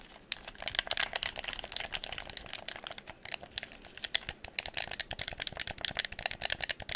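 A hollow red plastic game controller is held near the microphone while fingers tap and scratch its shell, press its buttons, and turn and shake it. The result is a dense stream of quick, dry, bright clicks and rattles with almost no low end.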